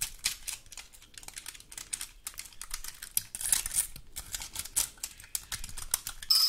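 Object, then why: Woody pine cone scratched with long nails. Long gold metal claw nails scratch across the scales of a large, dry, woody pine cone. They make rapid, dry, bright clicking and crackling ticks that come in uneven bursts with almost no low end. A louder, hissy scrape closes the clip.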